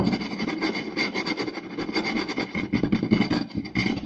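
Both hands use flat palms and fingertips to rapidly tap and scratch a round, solid wooden plate. The result is a dense, continuous stream of dull knocks around 215 Hz layered with dry, bright scratching rasps, each tap dying away almost at once.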